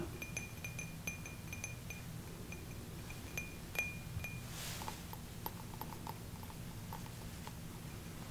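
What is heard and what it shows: A small, hollow, empty cut-crystal drinking glass is held in both hands and tapped with fingertips and nails. The taps make light clinks with a brief high ring near 2.4 kHz over a low, steady hum. Midway there is a soft rushing sweep, after which the taps sound duller and less ringing.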